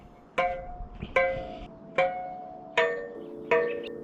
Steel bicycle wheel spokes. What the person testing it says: you kind of listen to the sound and what you want to do is make sure that it's consistent